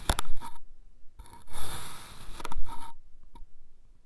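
A dark iridescent metal knife slices a red kinetic sand mound further into thin layers, producing soft, gritty scraping strokes separated by short quiet pauses.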